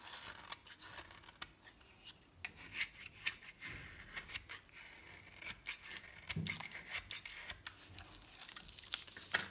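A metal blade rasps and scrapes powdery shavings from the surface of a solid green soap bar with a pink edge held in the palm. Quiet, bright, dry scratching strokes repeat throughout, with sharp crisp clicks and brief tearing scrapes.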